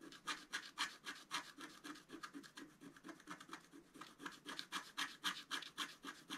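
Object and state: Scratch-art paper scraped with a stylus.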